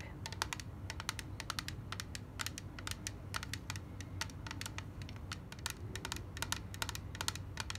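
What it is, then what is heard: Clear plastic case. Long black nails tap rapidly on a small, clear, rigid plastic case holding white cotton pads, held in the hand. Quick, bright, dry clicks come in an irregular stream, each dying away almost at once, over a steady low rumble.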